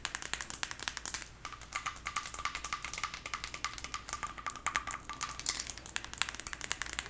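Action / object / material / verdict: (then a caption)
tap / small glass perfume bottle with glass cap / glass / none. A small teal glass perfume bottle with a faceted clear glass cap, held in the hands and partly full, is tapped rapidly with long acrylic nails. The result is a steady stream of quick, bright clicks and ticks with very short ring, plus a faint high glassy tone running through parts of the clip.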